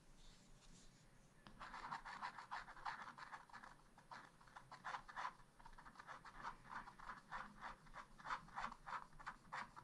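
A wooden stylus, held near its tip, rubs and scratches fill into ice cream drawings on a black wax-coated scratch art page. Quiet at first, then after about 1.5 seconds a steady run of short, dry scraping strokes sets in, centered in the midrange around 1 kHz with a faint high hiss. The strokes repeat at a brisk, somewhat uneven pace.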